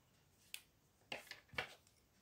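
An orange wooden colored pencil, held by a hand with long blue nails, scratches four short strokes across a flat paper coloring page on a table. Each stroke is a quick, bright, dry scratch with a sharp start and almost no ring, separated by near silence.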